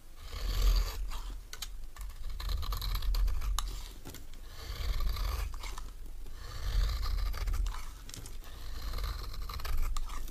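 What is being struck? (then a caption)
Bar of soap scraped with a metal knife. A metal knife scrapes and cuts into a solid, dry green oval bar of soap, producing crumbly shavings. Rough, scratchy scraping strokes rise and fall in waves over a deep, rumbling low end, with faint brighter crackles as the soap crumbles away.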